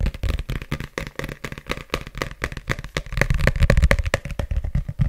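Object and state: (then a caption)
Paperback book with glossy cover. Fingertips tap and scratch the glossy cover and page block of a solid red paperback book held close to the mic. The result is a rapid, irregular stream of short, dry taps and scratchy crackles with a heavy low-end thump and a bright rustle on top.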